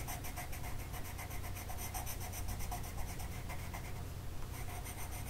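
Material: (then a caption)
Paper. A green colored pencil tip is rubbed across a flat printed mandala sheet of paper lying on a table, held in place by one hand. The result is a steady run of soft, rhythmic scratching strokes with bright, papery texture over a constant low rumble.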